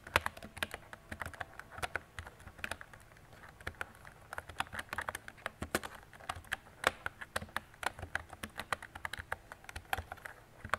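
A mint-green retro plastic mechanical keyboard with round plastic keycaps and a hollow body is typed on with fingertips and long decorated nails. A steady stream of short, sharp clicks and clacks with bright edges and very little ring. About 56 keystrokes in irregular typing rhythm.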